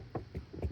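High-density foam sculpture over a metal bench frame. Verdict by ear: Hollow.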